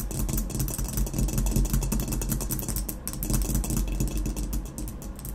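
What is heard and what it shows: Long nails tap rapidly on the base of a hollow ceramic vase marked "W. Germany." The result is a dense stream of quick, bright clicks over a low, steady hum.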